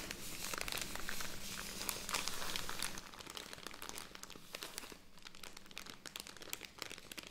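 A handheld soft plastic film bag full of cotton pads is crinkled and tapped with long red nails and fingertips. Dense, bright crinkling fills the first three seconds, then settles into quieter crackles and sharper taps, over a faint steady low hum.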